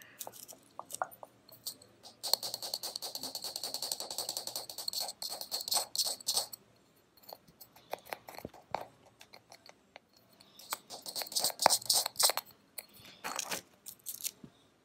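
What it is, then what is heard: Plastic miniature tub of peas. A small brown plastic tub filled with green plastic peas, a solid miniature held in the hand, is scratched and tapped by fingertips and nails along its sides and bumpy pea top. Dense bursts of bright, dry, rattly scratching come in two long stretches, separated by sparse, quick clicks and taps with almost no ring.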